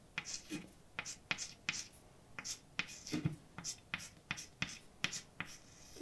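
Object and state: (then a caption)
Chalk writing on a blackboard. A hand writes letters on a large, dark, flat, solid chalkboard with white chalk, tapping and scraping across the surface. About fifteen sharp, dry, bright ticks are heard, separated by short, softer scratching strokes, and a louder scrape comes at the very end.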